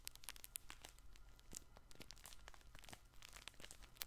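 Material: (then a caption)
Fabric. A colorful stuffed fabric plush baby ball toy is held in both hands, squeezed and scratched with fingertips and nails. Quiet, dense crinkling and scratching comes as many short, bright clicks and crackles over a low, steady hum.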